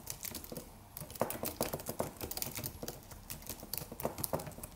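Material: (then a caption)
Plastic. Fingertips of both hands type rapid taps on the white plastic keys of a slim white Apple-style wireless keyboard with an aluminium body. The result is a quick, uneven stream of soft, crisp clicks with bright ticking edges that stop short with almost no ring.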